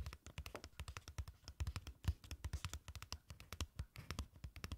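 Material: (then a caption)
Paper card. Long nails rapidly tap and scratch the surface and edges of a small, thin, rectangular printed paper card with a farm picture, held in both hands. The result is a quick, uneven stream of short, dry clicks and scratchy brushes with a soft low thump under each tap.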